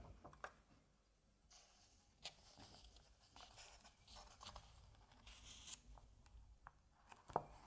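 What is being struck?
Printed paper pages of a comic album.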